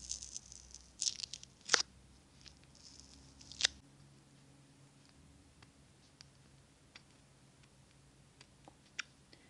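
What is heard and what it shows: Long acrylic nails tap on a small glass jar filled with solid green candle wax, held in the hands close to the microphone. Bright, crisp clicks come at irregular intervals, with a few louder taps clustered in the first four seconds, then fainter, sparser ticks against a quiet low hum.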